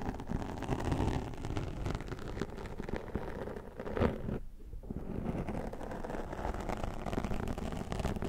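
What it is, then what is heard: Foam microphone windscreen being combed. A plastic fine-tooth comb held in the fingers scratches and combs down the top of a black foam windscreen on a Zoom microphone. The result is a dense, continuous scratchy rustle, heavy in the low end and muffled, with a brief quieter pause just after the midpoint before the combing resumes.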